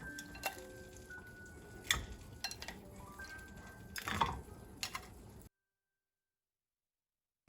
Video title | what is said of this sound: 拔丝苹果 最简单的做法 零基础也能做好 附：详解熬糖浆的两种方法 - Chinese Apple in Hot Toffee Ep034 -【Yi Life】 | you hear the crisp sound when it touches the plate